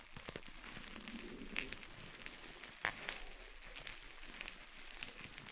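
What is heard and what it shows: A clear plastic bubble wrap sheet is bunched in both hands over a wooden board while fingertips squeeze and pop the bubbles. A steady, bright crinkling and crackling runs throughout, broken by sharp, quick pops, the loudest near the middle of the clip.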